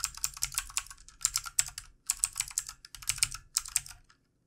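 Fingertips of both hands type continuously on a full-size backlit plastic mechanical keyboard with plastic keycaps. Quick bursts of bright, crisp clicks and clacks come with brief pauses between runs, each keystroke dry and short with almost no ring.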